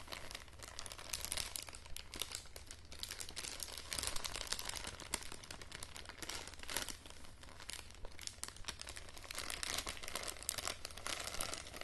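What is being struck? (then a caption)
Thin plastic bag. A small semi-transparent printed plastic bag is held in both hands while fingers and long nails crinkle and scratch it. The result is a dense, continuous stream of bright, crisp crackles over a steady low hum, staying fairly quiet and even throughout.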